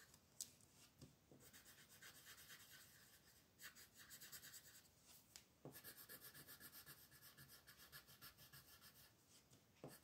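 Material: Paper.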